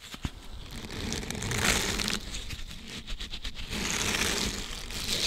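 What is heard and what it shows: Fingertips squeeze, bend and rub a thin, flexible, flat green silicone dish scrubber with short bristles, held in both hands close to the mic. The result is continuous, bright crinkly rubbing with soft crackles and a low rumble underneath, plus a couple of sharper clicks near the start and middle.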